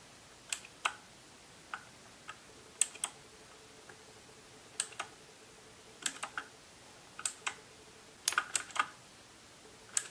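Fingertips tap the hollow plastic keycaps of a white compact RK71 mechanical keyboard with RGB backlighting, resting on a marble-look desk, pressing the keys over their switches. About 18 short, bright plastic clicks come in irregular bursts over a quiet background, with a faint steady tone near 450 Hz in between.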